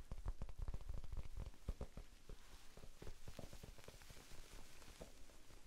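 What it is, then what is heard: Foam sponge tapped with fingertips. A small, soft, solid rectangular pink foam sponge is held in both hands in front of the face and tapped with the fingertips. The taps come as a quick, irregular patter of dull, low, muffled thuds, louder for the first two seconds and then softer, with each one dying away almost at once.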